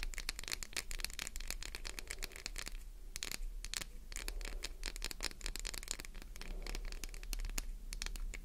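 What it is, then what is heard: Soap bar scratched with fingernails. Long nail tips rapidly scratch and click across a solid, translucent green glycerin soap bar with an embossed logo. The result is a dense, continuous stream of sharp, dry, bright scrapes and ticks that die away almost instantly, over a steady low hum.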